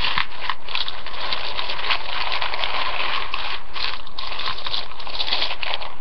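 Fingers with nails push and dig into a large ceramic bowl full of dry rotini spiral pasta. The pieces click and rustle against each other in a steady, dense crackle that carries on without a break.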